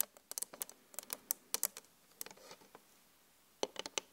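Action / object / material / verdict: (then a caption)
tap / flat glass mirror / glass / none. Long acrylic nail tips from both hands tap quickly on a flat glass vanity mirror. The taps come as bright, sharp clicks with almost no low end and no ring. They run in rapid bursts, pause for about a second, then finish with a final quick cluster.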